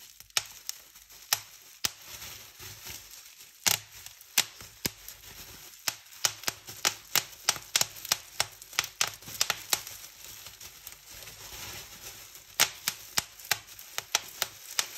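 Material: Plastic.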